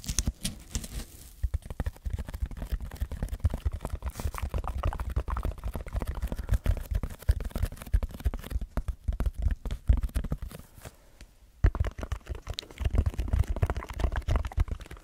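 Fingertips scratch a red textured foam block held close to the microphone, making dense, rapid bursts of soft, low, rumbling scratching. The sound runs almost continuously with only a brief lull near the end before the scratching picks back up.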